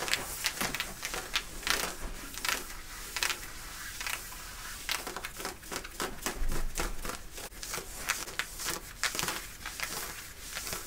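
Long nails scratch aggressively at the side and back pocket area of worn light-blue denim jeans, the thick woven cotton giving off a fast series of dry, rasping strokes. Each short burst is bright and crackly with little ring, rising and falling in quick irregular bursts over a faint low rumble.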